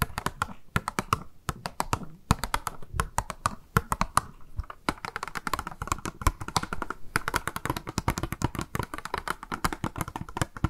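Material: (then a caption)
Plastic. Long acrylic nails tap and scratch the surfaces of a small, hollow, translucent pink plastic cube box labelled "MAKE UP", with a pink round item inside, held in both hands. The result is a rapid, irregular stream of sharp, dry clicks that stop almost instantly, with soft scratchy rustling and low thumps between them.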